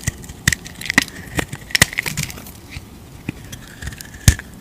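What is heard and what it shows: A utility knife blade scrapes and carves shavings off an oval, solid white bar of soap with a dark coated shell, held in the palm. Crisp, dry scraping cuts and sharp crackling snaps come in irregular bursts, with a bright edge and a faint steady tone underneath. The final cut near the end is the loudest.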